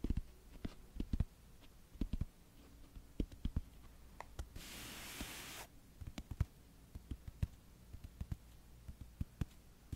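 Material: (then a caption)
Cardboard. Long yellow-painted nails slowly tap and scratch the pink-and-white printed cardboard cover of a paperback book held upright beside the mic. Soft, short, low taps are spaced out across the clip, broken midway by a steady, hissy scratch lasting about a second. A faint low hum sits underneath throughout.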